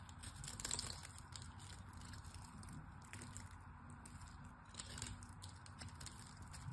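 A solid pink glycerin soap bar held in hand is scored and chipped with a small metal blade. The sound is a steady run of crisp, crackling scrapes and crunchy chips with bright, high-pitched ticks over a low background rumble. It swells a little near the start and again midway.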